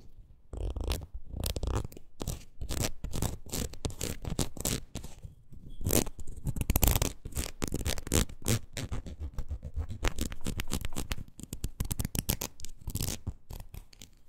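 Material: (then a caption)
Rubber. Long nails scratch along the ridges of a red, ridged rubber wood-graining rocker tool. The result is a dense run of quick, rasping scrapes with a soft low thump under each one and some bright, brushy hiss on top. The strokes carry on steadily with no pauses for the whole clip.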